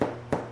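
A French bread loaf is thumped twice, giving two short, hollow-sounding knocks. Its pale crust shows it still holds too much moisture, which would spoil the crust, so despite the hollow sound it is judged underbaked and given one more minute in the oven.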